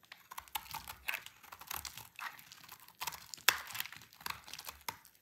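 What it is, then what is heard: Dry soap bar. A solid, dry, rectangular green soap bar is held in the hand and sliced into strips with a utility knife blade. The cutting gives a run of dry, crisp scraping and crunching strokes, bright and papery with almost no low end. The loudest, sharpest crack comes midway through.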